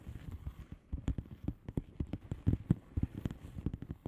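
Long polished nails on both hands tap and scratch the plastic bubbles of a flat padded bubble wrap envelope lying on a table. The result is a quick, uneven patter of short, dull, low thuds with soft scratchy texture between them, each tap dying away almost instantly.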